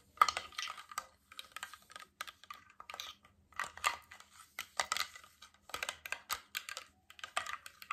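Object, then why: Glass water bottle with steel cap. A tall, clear, mostly empty glass water bottle with a stainless steel cap is held horizontally and tapped along its side with fingertips, nails and rings. It gives a rapid, uneven series of light, bright clicking taps with a faint high ring that dies away almost at once.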